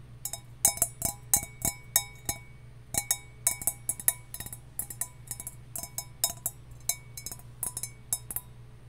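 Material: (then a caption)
Copper. A copper mug is tapped in a quick, irregular series of about thirty light taps, each giving a bright, ringing metallic clink that fades quickly. A steady low hum runs underneath throughout.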